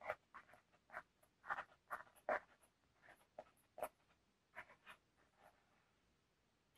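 Fingernails scratch and tap the surface of a flat, rectangular, black textured paperboard eyeshadow palette case with a small metal plate, held in one hand. The result is a quiet, irregular series of short, dry scratches and taps in the mid range, each fading almost instantly.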